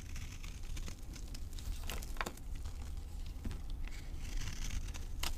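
A knife blade scrapes across the surface and edges of a solid, dry green avocado soap bar held in the palm, and crumbly powder falls off. The scraping makes dry, crinkly crackles and bright, tearing streaks over a steady low rumble.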